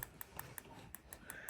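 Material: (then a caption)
Plastic. A pen taps the small plastic screw-down clamps on the bezel of a Rescue Yellow G-Shock Mudman watch eight times. Each tap is a short, dry, bright click that dies away almost instantly. The clamps sound like plastic rather than metal, which is judged a good thing.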